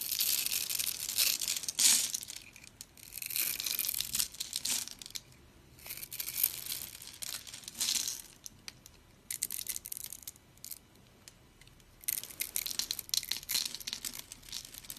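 A blade scrapes crunchy cubes off a dry, pre-scored, solid rectangular green and white striped soap bar held in the palm. Bursts of bright, dense crunching and crinkling alternate with short quiet gaps, carrying almost no low end.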